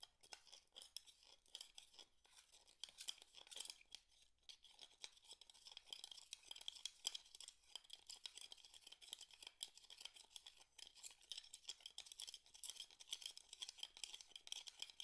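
Fingers pick up and rub small, empty mussel shells against the pile of shells below, making a continuous stream of quiet, bright clinks and scrapes. The sound is almost entirely high-pitched and crisp, with very short, dry ticks and almost no low end.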